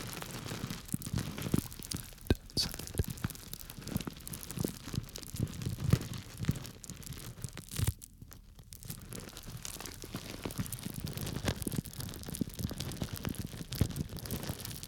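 A small clear plastic bag full of small dry grains, held by its string top, is squeezed and scratched through the plastic with the fingers. It makes a steady stream of close, crinkly, crunching rustles with soft, low-weighted grain shifts and occasional sharper crackles. The sound briefly quiets around the middle before it resumes.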